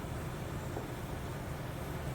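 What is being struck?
Nothing is struck.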